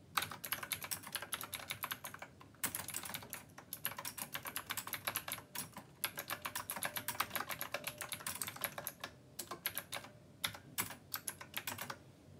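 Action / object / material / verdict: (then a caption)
tap / plastic mechanical keyboard with round metal keycaps / plastic / none. Fingertips type with both hands on a black plastic Rymek retro mechanical keyboard with round copper keycaps, then one hand alone presses a few final keys. Quick bursts of crisp, bright clacks come in dry, short hits with brief pauses between runs, and each key sounds with a slight ringing tone around 1.3 kHz.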